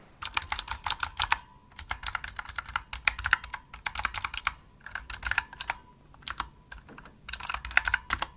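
A full-size pink plastic opto-mechanical gaming keyboard with RGB backlight and hollow key switches is typed on steadily with fingertips and long nails. The bright, sharp clicking taps come in quick bursts with brief pauses between them, and each tap dies away almost instantly.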